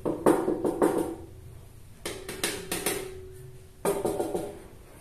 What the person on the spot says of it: kondisi kosong ya teman-teman suaranya padat